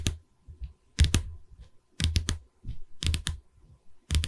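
Long red nails tap on the top edge of a pine canvas frame. The taps come in short bursts of two or three about once a second, each a dull, low wooden knock with a brief bright click. They die away almost at once.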